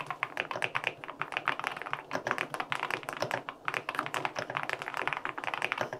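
Fingertips type rapidly on a white LINK65 mechanical keyboard with an aluminum case and white and pink plastic keycaps. Its keys give crisp, short clacks in a quick, steady stream with a bright top and almost no low end.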